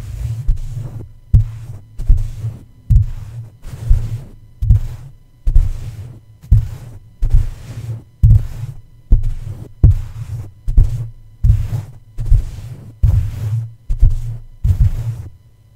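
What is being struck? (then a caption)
Metal mesh microphone grille tapped with plush. Soft plush toy feet tap repeatedly on the dome of a red microphone's black metal mesh grille. The taps come as dull, low thumps in a steady rhythm of about seventy per minute, each fading quickly, with a low hum underneath.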